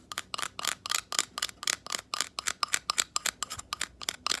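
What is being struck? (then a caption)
Abalone shell. A palm-sized natural abalone shell, with an iridescent nacre interior and a rough outer side, is held in both hands and tapped and scratched with long acrylic nails on its inner and outer surfaces. About two dozen quick, bright clicks follow one another at an uneven pace, each crisp and high-pitched with a very short, dry decay and almost no low end.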